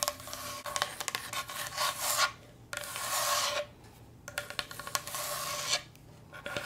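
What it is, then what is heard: Wooden cutting board. A wooden cutting board is scratched and tapped, making a dry wooden rasp. Long bright scratching strokes come in several bursts separated by short quiet gaps, with sharp clicky taps scattered between them.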